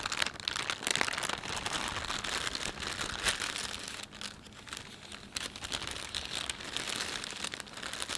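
A thin, empty panda-print plastic shopping bag is bunched, rubbed and crinkled with the fingertips of both hands. It gives a dense, bright, crackling rustle of many tiny snaps, easing briefly midway before building back up.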